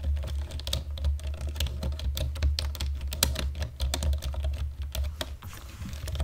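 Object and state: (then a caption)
Plastic computer keyboard. Fingertips and nails tap steadily across a black plastic computer keyboard, producing quick, crisp clicks with a bright edge. A steady low hum runs beneath the typing throughout.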